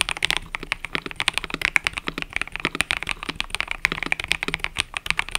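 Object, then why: Mechanical keyboard with plastic keycaps. A mechanical keyboard with cream and purple plastic keycaps is typed on continuously with fingertips. The result is a rapid, steady stream of sharp, bright clicks and clacks, each dying away almost instantly.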